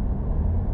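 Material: Nothing is struck.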